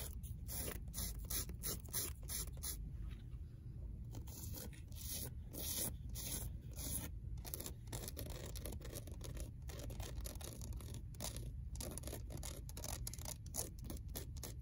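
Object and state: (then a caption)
Old paperback book spine. Long nails scratch rapidly along the torn paper spine of a worn old paperback resting on a library shelf. The clip is a quiet, steady stream of dry, rasping scratches with bright papery hiss over a low, dull rumble.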